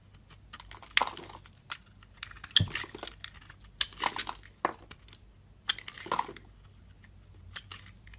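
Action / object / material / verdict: scrape / soap bar scraped by a metal blade / soap / none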